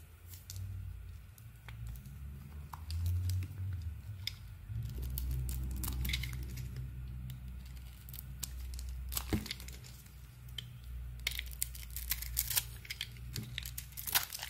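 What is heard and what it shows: A small metal blade held in the fingers shaves a solid orange bar of soap with a purple coating. Quick, irregular crinkly scrapes and sharp bright ticks come over a steady low hum, with a few louder cuts near the end.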